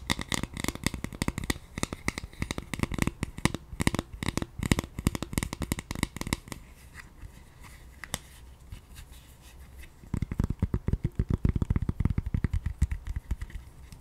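A palm-sized, hollow dome-shaped pink soft silicone scalp massager brush is tapped and scratched with long painted nails. It makes rapid, dense, dull tapping and scratchy clicks. A quieter, softer scratching stretch in the middle gives way to another burst of quick taps.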